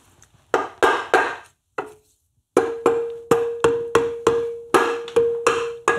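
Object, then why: Cast aluminium motorcycle crankcase half. A soft-faced mallet with a blue handle knocks repeatedly on a medium-size, hollow cast aluminium Tiger Cub motorcycle engine crankcase half with bearing bores, clamped on a milling machine table and steadied by hand. The knocks are sharp and woody, with a short pause partway through. The later knocks carry a brief metallic ring around 465 Hz that fades within a fraction of a second.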